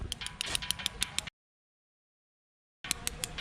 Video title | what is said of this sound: #EPI-1#HYDERABAD TO# NIZAMBADH#TO#BASARA#TRAVELLER | కాయిన్తో కొడితే బిందె సౌండ్ వస్తుంది. అవును, సౌండ్ వస్తుంది, బిందె సౌండ్